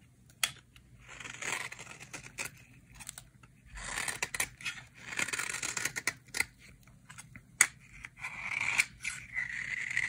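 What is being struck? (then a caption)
Bar of soap scraped with a metal knife. A small, solid, cream-colored bar of dry vintage soap is held in the hands and scraped and carved with a metal knife blade. Flakes crumble off onto a pile of soap shavings. Dry, bright, crisp scraping and crunching comes in short bursts and sharp clicks, with quiet gaps between strokes.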